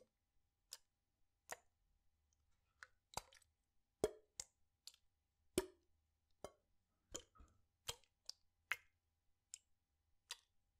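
A clear PET water bottle with a blue cap, partly filled with water, is rocked and tilted in one hand so the water sloshes inside. About fifteen quiet, short plops and clicks come at an uneven pace, each a sharp, bright burst with a brief low-mid body around 400 Hz. They fade almost instantly, with near silence between them.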